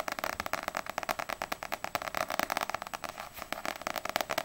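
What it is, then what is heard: Paperback book cover tapped with nails. Long nails tap quickly on the glossy paper front cover of a small, solid paperback manga, Ousama Game volume 4, held upright. The result is a fast, steady run of crisp, dry clicks with a mid-range body and a bright edge, almost no low end, and no ring after each tap.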